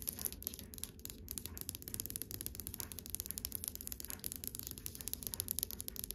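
Long white nails tap rapidly on the flat wood panel of a dark stained wooden dresser drawer front with a brass handle. The result is a dense run of quick, dry clicks, each with a bright, high edge over a soft, low woody body that dies away almost instantly.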